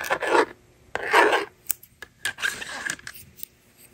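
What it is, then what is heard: Plastic magnetic drawing board being written on. A yellow plastic stylus scratches numbers into the honeycomb screen of a hand-held blue and pink plastic magnetic drawing board, then the plastic eraser slides across it. Three long, dry raspy scratching strokes are heard, with short light clicks and taps between them, bright and thin with no low end.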